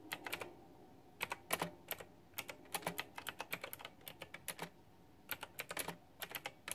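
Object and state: Plastic mechanical keyboard being typed on.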